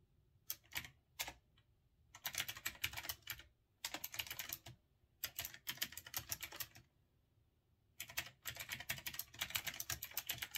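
Fingertips type fast on a retro typewriter-style mechanical keyboard with round backlit keycaps and a metal-look body. Bright, crisp key clicks come in quick bursts with short pauses between them, each click dying away almost at once.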